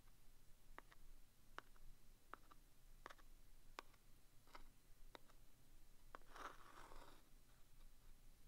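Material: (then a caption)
Cardboard. The tip of a wooden stick taps and traces the front face, then the worn side, of a small vintage green cardboard box of Commander staples, hollow and presumably full, held in one hand. Quiet, sharp, dry taps with a brief midrange knock ring out at spaced intervals over a low background hum. Near the end they give way to a longer, brighter rough scratching rub.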